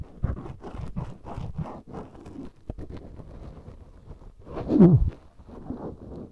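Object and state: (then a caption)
Silicone ear microphone rubbed with a swab. A black cotton swab held in the fingertips rubs and scratches inside the ear canal of a life-size white silicone ear microphone made of solid, soft, rubbery material. The result is a close, muffled series of low scratchy scrapes and rubbing swishes, with little high end, that swells into a louder, fuller rub near the end before settling back.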